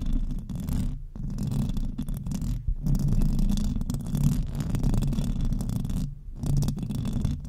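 Long decorated nails scratch fast across the hollow metal mesh grille of a silver microphone. The result is a dense, low, rumbling scrape that comes in bursts, with brief near-silent breaks around one, three and six seconds.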